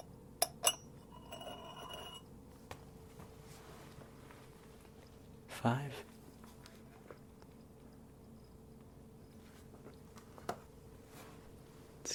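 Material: Ceramic.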